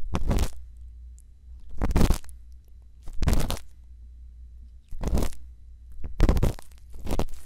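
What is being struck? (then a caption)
Silicone ear microphone scraped by a bamboo earpick. A thin bamboo earpick scrapes inside the ear canal of a white silicone ear microphone, making six separate bursts of dry, crunchy scratching that reach into bright high tones. A steady low rumble continues between the strokes.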